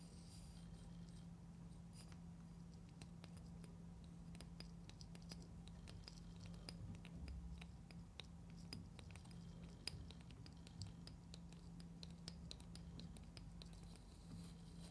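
Long painted nails scratch and tap a small orange, carrot-shaped hollow plastic toy container with a seam and a green top, held in both hands. Quick, dry clicks and bright scratchy ticks patter throughout at a soft level over a steady low hum.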